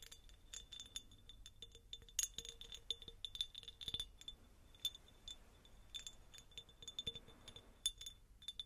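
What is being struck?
Textured glass jar.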